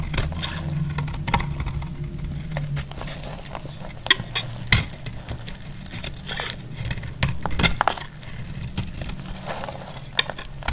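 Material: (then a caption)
Soap. A metal utility-knife blade scrapes along and cuts into the edge of a solid, dry cream bar of soap. The result is a run of dry scraping and sharp, bright clicks and snaps over a steady low hum, with louder crunches standing out as pieces cut away.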